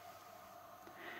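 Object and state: Nothing is struck.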